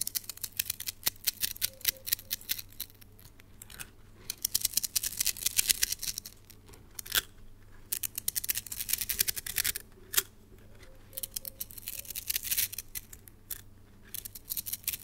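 A red translucent plastic slinky spring toy is held in hands with long nails while its coils are stretched and collapsed. Rapid, bright clicking and rattling comes in bursts with brief quiet gaps, and each click stops almost instantly.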